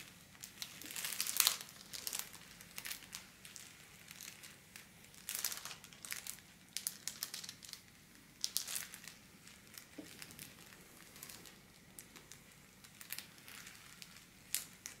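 A thin pink holographic metallic foil wrapping paper sheet, lying flat on a wooden table, is scratched and rubbed with long black-polished nails. The result is bright, crisp crinkling and rustling in irregular bursts, with almost no low end.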